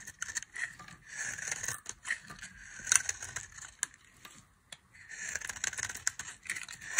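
A box-cutter blade scrapes and carves a solid, dry orange bar of soap with an embossed logo, shaving off crumbly curls. The sound is a series of dry, bright scraping and crackling strokes with short pauses between them, and almost no low end.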